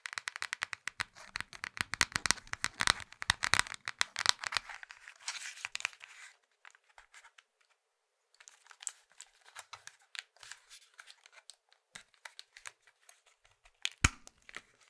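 A small, hollow plastic Nokia mobile phone is turned in the hands while fingertips and nails tap and scratch its back cover and sides. Dense, crisp, bright tapping and scratching fills the first six seconds, then goes quiet briefly. Sparser taps follow, with one sharper knock near the end.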